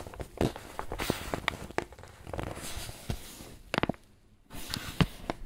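A wrinkled white paper bag, apparently filled with flour, is squeezed and crinkled with both hands. Irregular bursts of dry, bright crinkling and sharp crackles alternate with softer rustling and brief quiet pauses.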